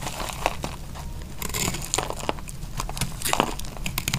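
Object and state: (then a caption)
Dry soap bar. A utility knife blade slices through a small, dry, solid piece of pink soap, making a run of crunchy, crackling cuts with bright crisp snaps. A steady low hum sits underneath the slicing throughout.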